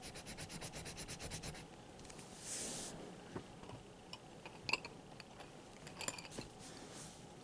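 Fingers hold a red colored pencil and shade a drawn letter in rapid strokes on a large open sketchbook with a thick stack of white paper pages resting flat. A quick run of bright, rhythmic rubbing scratches opens the clip, followed by a brief soft hiss. Sparser scrapes and sharp little ticks of the pencil tip on the paper follow.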